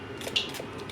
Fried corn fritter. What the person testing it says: मस्त आतमधून सॉफ्ट आणि बाहेरून क्रिस्पी